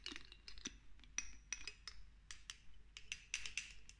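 A small amber glass dropper bottle of castor oil, with a green label and a black dropper cap, hollow and partly filled with oil, is handled and tapped with long acrylic nails while the dropper is clinked against its neck. The result is a fast, irregular series of short, bright glassy clinks and ticks with a faint ring near 2.7 kHz that dies away quickly, over a low, quiet background.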